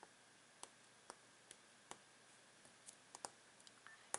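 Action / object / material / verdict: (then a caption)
tap / wooden jigsaw puzzle board / wood / none. Fingertips and short nails tap and scratch the printed front of a thin, solid, flat rectangular wooden jigsaw puzzle board, then its plain wooden back. About ten quiet, dry, bright clicks come at uneven intervals over a faint steady hiss. Each click stops almost instantly with no ring.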